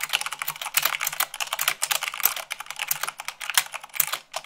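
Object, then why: Mechanical keyboard with plastic keycaps. Fast typing with fingertips and long nails on a mechanical keyboard with white plastic keycaps on a black base. A rapid, uneven stream of crisp, bright clicks and clacks, each dying away almost instantly, with almost no low end and a few sharper, louder strikes standing out from the flurry.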